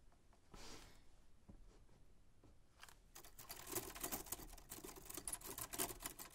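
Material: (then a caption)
Metal. White-gloved fingertips hold the sides of a 1940s Smith-Corona manual typewriter, with its black painted metal body, round keys and paper loaded, then press and tap the keys. A quiet, soft handling rustle gives way after about three seconds to a dense run of irregular, bright, dry clicks and clacks from the key mechanism. The clicks are quick and short, with no lingering ring.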